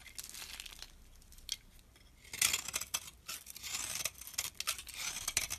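A metal blade scrapes crumbly shavings off a solid brown bar of soap, like laundry soap, held in the palm. Dry, bright, crackly scraping comes in irregular bursts, quiet at first and then louder and rougher in the second half, with almost no low end.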